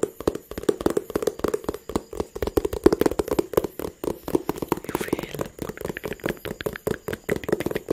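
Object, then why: Small cardboard box. A small, hollow blue-and-white cardboard phone box is held in one hand and tapped with the fingertips of the other. It makes a steady stream of quick, dry, hollow taps with a woody mid tone near 370 Hz that die away almost at once.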